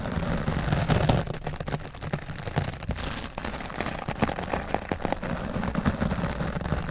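The bristles of a wooden dry brush scrub the top of a grey foam microphone windscreen, making dense, close scratchy rustling that is heavy in the low end. Quick brushing strokes pile up into a steady, soft crackling texture with small bursts throughout.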